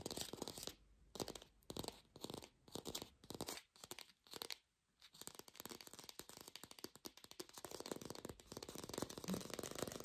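An artificial plastic green apple is fast-tapped, recorded lo-fi without a microphone. Short bursts of quick, crisp tapping with brief pauses between them give way to a steady, dense stream of taps in the second half. The taps are dry and scratchy, with almost no ring.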